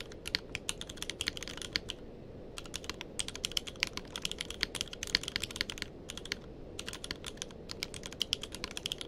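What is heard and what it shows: Fingertips of both hands type steadily on a tenkeyless mechanical keyboard with plastic keycaps, making quick, bright clicks that stop short. The clicks come in bursts with brief pauses near two seconds and six and a half seconds, over a low, steady background noise.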